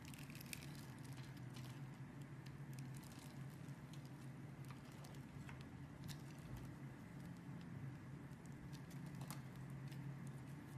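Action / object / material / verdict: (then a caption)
scrape / bar of soap cut with a blade / soap / none. A utility blade carves scored cubes off the surface of a solid, hand-sized, opaque blue soap bar held in fingers with long red nails. Scattered soft, crisp crackles and light ticks from the cutting run throughout over a steady low hum that dominates the sound. The level stays quiet and even for the whole clip.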